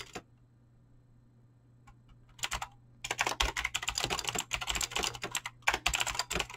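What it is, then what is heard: Mechanical keyboard with PBT keycaps. A full-size mechanical keyboard with Razer clicky green switches and dyed PBT plastic keycaps sits on a desk and is typed on fast with fingertips and short nails. After a few scattered clicks, a dense run of sharp, bright clacking key presses starts and continues to the end, over a faint steady low hum.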